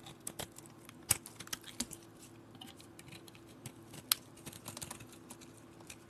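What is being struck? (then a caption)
Bar of soap scraped with a metal blade. A metal blade scrapes crumbly soap off a solid white soap bar held in the hand, making quiet, bright, crisp scratching and clicking sounds at an irregular pace. Two sharper, louder snaps stand out over a faint steady low hum.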